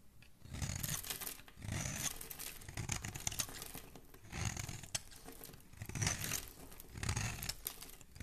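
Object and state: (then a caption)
Bar of soap being scraped. A metal blade scrapes along the edge of a small, solid, cream-colored bar of soap with a paw-print stamp, held in one hand, shaving off crumbly flakes. Repeated rough scraping strokes come in bursts, each with a low rumbling body and a bright, crackly, high hiss.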